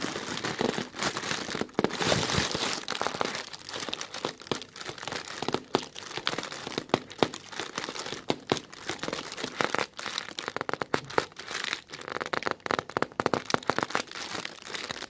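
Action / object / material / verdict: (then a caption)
scrape / thin plastic bag / plastic film / none. Short red-polished nails scratch and press the wrinkled film of a thin white translucent plastic bag, close up. Dense, bright crinkling and crackling runs throughout, broken by many sharp, quick snaps that die away almost instantly.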